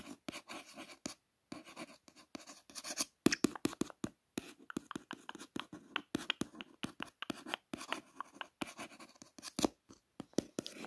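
A long fingernail traces the raised silver foil "Faster Brand" lettering on a purple cardboard box. It makes a rapid series of short, dry scratching strokes with bright hiss and a faint midrange body, separated by brief silent gaps, and each stroke stops dead with no ring.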